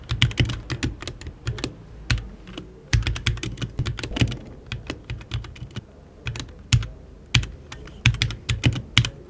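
Fingertips type continuously on a compact RGB HyperX Alloy Origins 60 mechanical keyboard with plastic keycaps, an aluminium case and Red switches, while the mouse beside it stays untouched. The result is a quick, uneven stream of short, dry keystrokes with a low, thocky body and a bright tick on top, coming in bursts with brief pauses.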